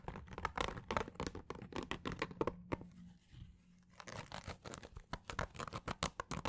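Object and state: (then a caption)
Fabric snapback cap scratched with nails. A green fabric snapback baseball cap is held in both hands in front of a microphone, with the underside of the brim facing out, while fingernails scratch across the fabric and the brim. Quick, dry, crinkly scratching strokes come in dense bursts with bright, papery texture. Around the middle they pause into a quieter stretch with a faint low hum before the scratching picks up again.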